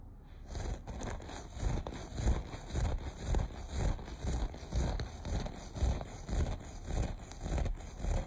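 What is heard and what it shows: Short nails scratch the pile of a beige looped carpet in steady, repeated strokes. The result is a rough, low, rumbling scrape with a faint bright hiss, rising and falling in a loose rhythm of just under two strokes per second.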